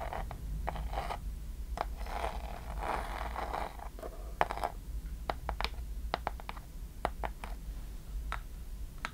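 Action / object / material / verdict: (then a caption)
tap / small wooden box with metal clasps / wood / none. A small hollow wooden chest box with metal clasps is tapped quickly with long nails on its front and sides. Soft scratchy scraping in the first half gives way to sharp, dry clicking taps with a hollow mid tone, over a steady low hum.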